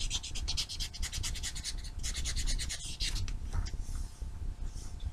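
A small solid foam nail buffer block with blue and white abrasive sides is held in the hand and rubbed back and forth against black fingernails. It makes rapid, rhythmic, bright scratchy rasps over a low rumble, pausing briefly before softer, smoother strokes near the end.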